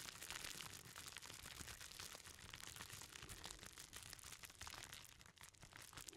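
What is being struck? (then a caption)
Bundle wrapped in plastic bubble wrap. A hand-sized bundle wrapped in clear plastic bubble wrap is squeezed and rubbed with the fingertips. The result is a quiet, steady stream of dense, bright crinkling and crackling with many small pops and rustles blending together throughout.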